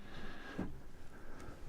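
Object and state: Nothing is struck.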